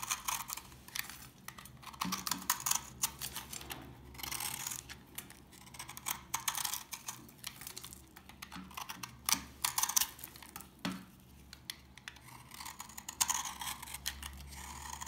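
A solid rectangular bar of old, dried orange soap is held in the fingers while pieces are picked and scraped off with fingernails and a knife blade. The sound is a dense run of short, bright, crumbly crunches and scratches with a faint low hum underneath.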